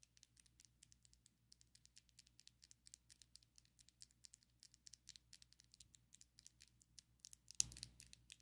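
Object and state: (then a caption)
Acrylic nails clicking together. Long coffin-shaped ombre acrylic fake nails on both hands tap so their tips click together, making a quick, uneven stream of quiet, bright, crisp clicks that die away almost instantly over a faint low hum. Near the end, a louder, fuller burst of clicking and rustle rises briefly above the steady tapping.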